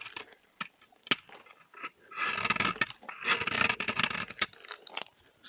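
A small, solid, orange dry soap bar is held in the hand while a metal blade cuts pieces off it and scrapes its surface. Sharp, crunchy clicks and snaps are broken up by two longer, bright, rasping scrapes.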